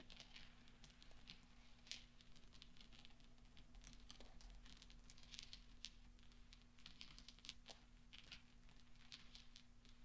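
Fingertips and nails tap and roll small solid steel pachinko balls on black velvet, making soft, bright metallic clinks and light ticks scattered across the clip. The clinks sit over a quiet, steady low hum, and each one dies away almost at once.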